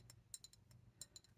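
An old glass bottle holding a preserved mouse is tapped in a series of light, uneven taps. Each tap gives a short, bright clink with high ringing tones that die away almost at once, over a faint low hum.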